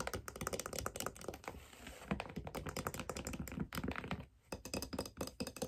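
Long dark nails tap rapidly on the underside of a white figure skate held in the hands, striking its brown leather/wood sole and the silver metal blade mounting plate with its screws. The result is a dense stream of short, dry clicks and thunks that briefly falls quiet just past four seconds.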